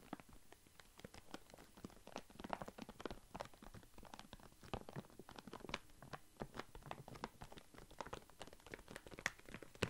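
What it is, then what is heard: Plastic bag of walnuts, full. A full Alesto plastic foil bag of walnuts is held in the hand and crinkled, scratched and shaken with the fingers. The result is a steady stream of quiet, sharp crackles and rustles, with bright crinkly snaps over a soft low rumble of shifting contents.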